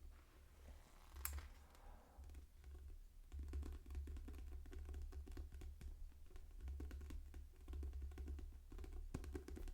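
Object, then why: Paper book. Fingertips tap on a library copy of the novel Dune Messiah, producing a steady, soft patter of many short, dull taps with a low thump that sounds a little like rain. One brighter scratchy tick stands out near the start.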